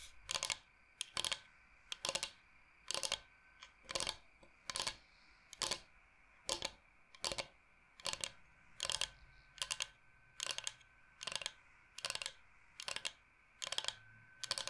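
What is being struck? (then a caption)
Bamboo cutting board. Fingernails tap rapidly on the face of a large, flat, solid bamboo cutting board shaped like Michigan. Short bursts of quick, dry, bright clicks repeat at an uneven pace, each dying away almost instantly against a quiet background.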